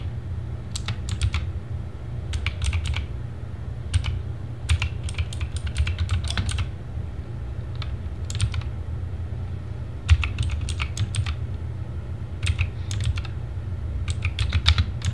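Fingertips type in bursts on a compact RGB TGT Sherman Mini mechanical keyboard with plastic keycaps, making quick, bright clicky clacks. A steady low hum runs underneath throughout.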